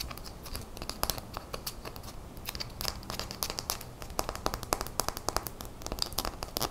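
A small, clear glass bottle of top-coat nail polish with a black plastic cap, about half full, is held in the hands and tapped rapidly with long fingernails. The result is a fast, uneven stream of short, bright clicks and ticks with very little ring, over a low, crinkly background rustle.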